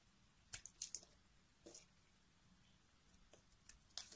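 A metal carving blade scrapes thin slices and crumbs off the edge of a solid beige bar of soap held in a hand with long nails. Short, crisp, bright scraping crackles come in quick bursts, with quiet gaps between them.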